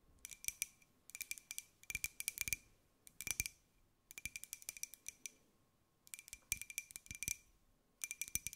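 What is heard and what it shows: Long nails tap on the outer wall of a small white ceramic mug with a pineapple print while it is held and turned in the hands. Rapid clusters of sharp, bright clicking taps are separated by short pauses, and each tap has a faint ring near 2.4 kHz that dies away almost at once.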